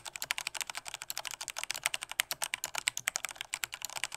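Fingertips of both hands type hard on a full-size black plastic Corsair K68 mechanical keyboard with Cherry MX Red switches and a hollow body. About 33 rapid, crisp clacks sound over four seconds, bright and thin with almost no low end. Each keystroke dies away almost instantly.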